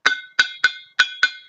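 A metal flask is struck five times with a wooden beater or wooden spoon. Each hit gives a bright, ringing metallic clink pitched around 1.5 kHz, with short tails that fade quickly.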